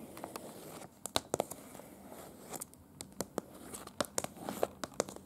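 Long pointed dark-red nails tap and scratch across a large printed paper city map of Prague, a thin, slightly crinkled sheet, in close-up. Soft crinkling and rustling is broken by many sharp, dry taps and clicks that die away almost instantly, with bright scratchy edges.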